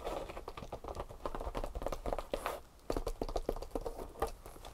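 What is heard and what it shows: Long painted nails tap and scratch the stitched front flap pocket and strap of a tan leather handbag lying flat. The result is a fast, uneven run of dull, muffled taps mixed with soft scratching. Each tap dies away almost at once.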